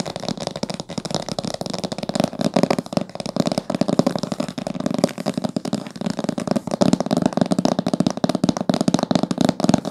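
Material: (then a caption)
Cloth, cardboard. Long fingernails rapidly tap and scratch the top cover of a thick, dark blue cloth-bound hardcover book with gold spine decorations, lying flat. A steady, dense stream of short, dry taps and scratchy rustles fills the whole clip, with a soft, muffled low-mid body and no ring between the strokes.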